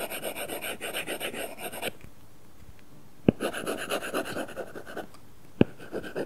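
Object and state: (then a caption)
Stylus rasping on a paper-texture film over a tablet glass screen. A stylus rubs rapidly back and forth across an iPad's glass screen fitted with a matte, paper-feel plastic film, as if coloring, making a rasping, papery scratch. Two bursts of quick strokes are each followed by a brief near-silent pause, and each pause ends with a single sharp tap before the scratching resumes.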